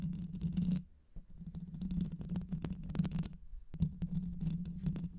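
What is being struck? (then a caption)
Metal mesh microphone grille. Long white acrylic nails scratch the hollow metal mesh grille of a black microphone, first with one hand and then with both. Dense, rapid scratching with a low, rumbling hum around 150–200 Hz runs throughout, broken by brief pauses near one second and just before four seconds. Sharp ticks and bright crackles from the nails pop out above the hum.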